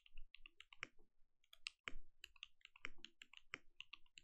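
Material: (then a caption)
Plastic. A compact mechanical keyboard with plastic keycaps is typed on continuously with fingertips. A steady stream of short, bright clicks and clacks follows in quick, uneven succession, each with a soft low thump beneath it and almost no ring.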